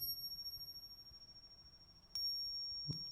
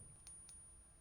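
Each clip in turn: First: genuine struck silver coin, ringing. Second: pressed coin, dull with no ring.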